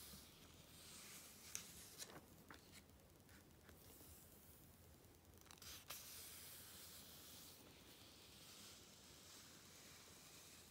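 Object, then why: Glossy coated-paper magazine page. A flat hand with long red nails slides and rubs over the coated paper page of an open glossy Vogue magazine, the activism issue, then lifts a page to turn it. The sound is a quiet, steady, bright hiss of rubbing, broken by a few crisp crackles and flicks as the paper is handled and the page lifts and turns.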